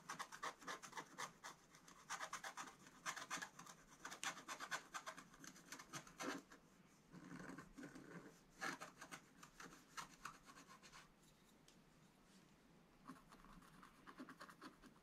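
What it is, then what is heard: Scratch-art paper being scratched. A wooden stylus scratches and rubs the black coating of a scratch-art page in a spiral book. Dense bursts of dry, bright rasping scratches alternate with softer, quieter rubbing stretches, all at a low, close level.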